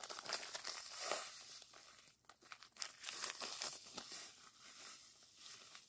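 A small clear plastic zip-lock bag partly filled with coarse purple granules is held in the air and squeezed by fingers. Bright, crisp crinkling and gritty crunching come in irregular bursts, with a short quieter gap near the middle.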